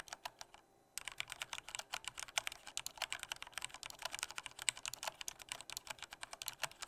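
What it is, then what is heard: Plastic mechanical keyboard. Soft fingertip typing on a black plastic full-size Corsair K68 mechanical keyboard with Cherry red switches gives a quick, steady stream of short, bright key clacks. The clacks stop briefly near the start, then continue evenly to the end.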